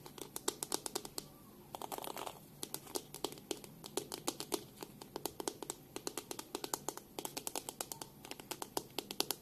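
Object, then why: Plastic hairbrush. Long nails tap on the back of a black plastic detangling hairbrush and run along its dense plastic bristles, making 64 quick, sharp, bright clicks in an uneven rhythm. Around the two-second mark a brief scratchy rasp mixes in, and each tap dies away almost at once over a quiet close background.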